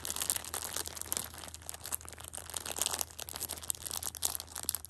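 Long painted nails squeeze and scratch the clear plastic overwrap of a full, handheld Shopkins pocket tissue multipack. The result is a continuous run of bright, dense crinkling and crackling with quick, sharp bursts throughout, over a faint steady low hum.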